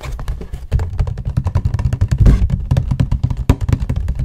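Fingertips and nails tap rapidly on the panels of a hollow cardboard tissue box held beside the mic. The result is a fast, uneven stream of short, dull, hollow thumps, with the energy almost entirely low and each tap dying away quickly.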